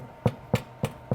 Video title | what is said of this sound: Comment pétrir parfaitement du pain et de la brioche avec le robot Ankarsrum | 이렇게 하면 빵이 완전히 익었는지 알 수 있어요. 그래서 아주 잘 익었다는 걸 알 수 있죠.